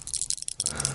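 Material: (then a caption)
Stone. A small container holding a stone surgically removed from a salivary gland is shaken, making a light, bright rattle. Several quick clicks and ticks of the stone against the container sound close together over about a second.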